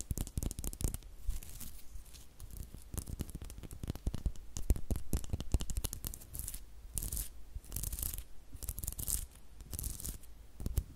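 Long nails scratch and tap the solid wooden back of a small brush with a flat, light-wood, butterfly-shaped back, held close to the mic. Quick, irregular dry clicks and scratchy rubs follow one another. They have a deep, thumpy body and brief, bright hissing bursts.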